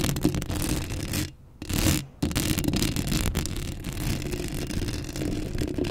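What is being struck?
Metal wire-mesh microphone grille.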